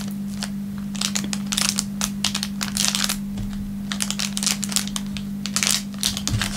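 An empty, thin clear plastic film wrapper is crinkled in the hands and rubbed with the fingertips against a wooden table. It makes bright, crisp crackling bursts in quick irregular clusters over a steady low hum.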